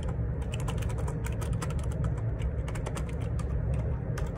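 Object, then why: Plastic computer keyboard. Fingertips type quickly on the plastic keycaps of a black plastic Perixx Periboard 612 wireless Bluetooth dual ergonomic split keyboard resting on a grey desk. A steady stream of short, bright clacks and taps runs over a constant low rumble, each keystroke dying away almost at once.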